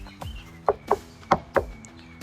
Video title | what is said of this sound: PART ONE: Ultimate Comparison Of The Kawasaki Ultra 310 Jet Ski and the Yamaha FX SVHO WaveRunner | Really impressed with how solid the Yamaha hull is.